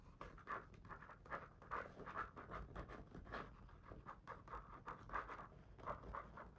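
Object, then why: Paper page of a hardcover picture book. A fingertip traces and rubs along the printed text on the paper page of an open hardcover children's picture book lying on a fluffy rug. The result is a quiet, dry, scratchy rubbing centered in the midrange, broken by frequent soft tap-like onsets that rise and fall without pause.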